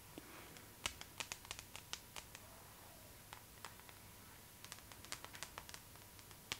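A glossy paper magazine is held upright near the face while its cover is scratched with long nails. Quiet, irregular bursts of short, crisp, bright scratches and ticks come in clusters over a soft, steady background hiss and a faint constant tone.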